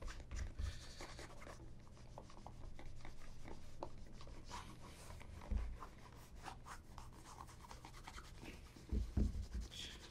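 A cloth held in the fingertips rubs a hollow, empty black leather ankle boot, making a soft, steady scratchy friction with brief dull low thumps as it shifts. Near the end the boot is lifted slightly, and a few heavier bumps mark the handling.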